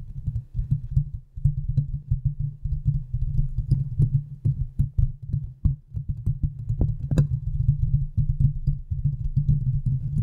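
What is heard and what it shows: Long nails of both hands scratch and tap across the hollow metal mesh head of a large silver condenser microphone. The result is a dense stream of deep, boomy thumps and scrapes with a steady low throb around 110 Hz, with almost nothing bright on top. The brief strokes die away almost instantly and blur together with no clear pauses.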